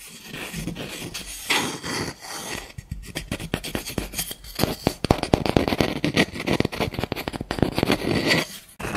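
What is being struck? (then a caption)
Unfinished wooden spoon. Fingernails scratch and tap the bowl of a light, solid, unfinished wooden spoon. Soft, dry scratching at the start gives way to a dense run of quick, crisp taps with almost no ring, ending in a brief rubbing scratch.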